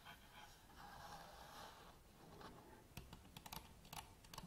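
Long nails tap quickly on the plastic top and grip of a black Canon DSLR camera body resting on a table. A soft, steady scratching hiss runs through the first three seconds, then about eight crisp, bright clicks ring out in a quick, uneven run.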